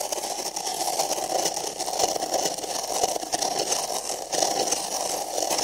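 Fingernails scratch inside the rim of an empty printed paper cup held sideways over the microphone. The result is a steady, dense, papery scraping with a hollow mid-range resonance and a bright, hissy top. It runs continuously with small swells in loudness rather than separate hits.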